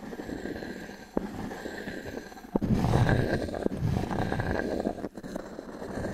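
A small wooden cube is dragged and tapped across the surface of a solid round pine log-slice coaster held in the palm. The result is a steady, low, grainy scraping, broken by a few short, dull woody taps that die away almost at once.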